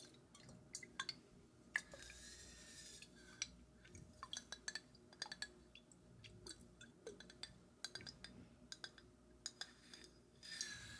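Fingertips tap and scratch on a glass bottle of Macallan 12-year single malt scotch, producing quick, bright clinks with very short ring. Soft scraping hiss fills the gaps between the many taps.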